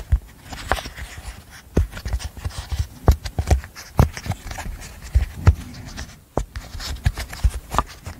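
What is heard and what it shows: A rainbow apple-shaped, hand-sized silicone pop-it fidget toy with hollow bubbles is held close to a microphone while its bubbles are popped and tapped with long nails. The result is a rapid, uneven series of soft, dull pops and clicks, low and thumpy with brief bright edges, each dying away almost instantly.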